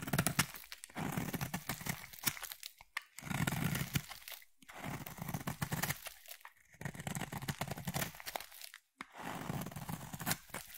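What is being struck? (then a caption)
Solid soap bar. A utility blade shaves a solid, palm-sized orange bar of soap in repeated strokes, curling off shavings. Each stroke is a dense, crisp crackling scrape with a low body and bright edges, coming in bursts with short silent pauses between strokes.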